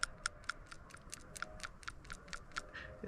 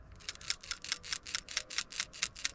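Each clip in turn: First: A rapid run of faint, dry little ticks as a PCV valve is shaken; it is sticking, not moving freely. Second: A quick, steady rattle of bright, sharp clicks: the plunger of a new PCV valve sliding freely.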